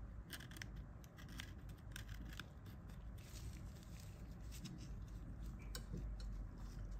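A gloved hand drags a flat pointed pick along the key rows and casing edge of a dirty plastic Nokia 1110 phone keypad, loosening debris. Quiet, irregular bright scratchy ticks and clicks repeat rapidly over a steady low rumble.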